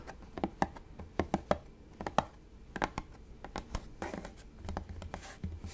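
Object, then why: Plastic spray bottle. A hollow light-blue plastic spray bottle with a purple trigger is held up and tapped on its bottom and sides with fingertips and nails. The result is a quick, irregular series of short, dry, hollow clicks and knocks with faint scratchy nail sounds between them.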